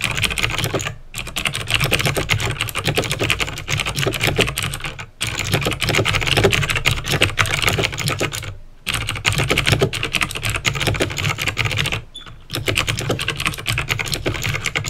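Fast fingertip typing on a backlit plastic mechanical keyboard with clicky green switches produces a dense, continuous stream of sharp, bright clicks over a low thud from the keys bottoming out. The typing runs in steady bursts separated by a few brief pauses.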